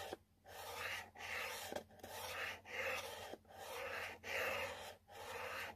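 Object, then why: Cardboard box. A long nail repeatedly scratches the same spot on the side panel of a yellow cardboard product box that already shows scratch marks. Each stroke is a dry, raspy scrape with bright, airy texture, broken by short pauses in a loose back-and-forth rhythm over a faint low hum.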